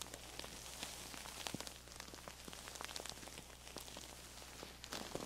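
Long nails scratch and tap the striped, printed fabric cover of a soft, stuffed square feather pillow held in both hands, which is tilted and squeezed at the end. The sound is a quiet, bright, crackly scratching dotted with many short, soft taps, over a steady low hum.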